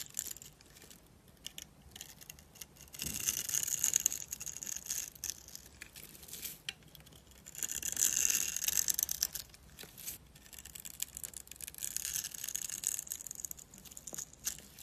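A steel utility knife blade scores and scrapes a solid, dry, mint-green rectangular bar of soap, and flakes fall off. The sound is a dry, crunchy, bright scratching, rising in three longer scraping passes between quieter stretches of faint crackle.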